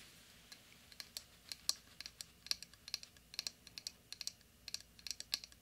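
Fingertips and nails tap and scratch across the plastic bristles of a small round pink plastic hairbrush with a hollow handle, held up in one hand. About two dozen quick, dry, bright clicks and ticks come in an irregular patter with almost no low end, each dying away instantly.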